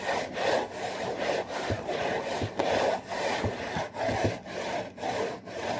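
Fingers with short nails scratch and rub the front panel and top edge of a hollow, printed cardboard saltine cracker box. The result is a steady run of dry, papery rasping strokes centered in the low-mid range, each swelling and fading with brief dips between them and faint soft taps underneath.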